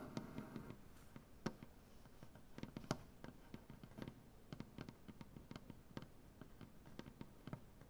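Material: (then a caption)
Wood. Long, dark-painted nails scratch and tap across a solid, light-wood butcher block tabletop. A steady run of short, dry taps with quick, bright clicks rises over a soft scratching rustle, with no ring after each hit.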